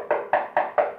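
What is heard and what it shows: Four knuckle knocks on a painted resin table base, primed with Dixie Belle Slick Stick, originally with a shiny, almost plastic faux wood finish. Each knock is a short, hollow, mid-pitched tock with no low thump that fades quickly. The sound reveals the base is resin, not real wood.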